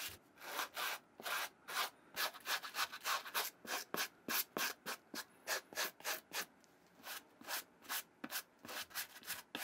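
A white plastic-bristle brush scrubs the suede side panel of a brown Nike Vintage Challenger suede sneaker, held in one hand with masking tape over the sole and swoosh. About 27 quick, somewhat uneven rubbing strokes make bright, hissy bursts with very little low end, each stopping sharply.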